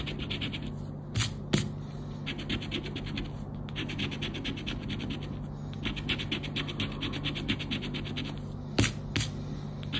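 A thin coated-paper "Roda dos Prémios" scratch card lies flat on black cloth while its central scratch area is scraped with a round black plastic scraper. Steady, rapid rasping strokes continue throughout over a low constant hum, broken by a few sharper, louder scrapes near the start and end.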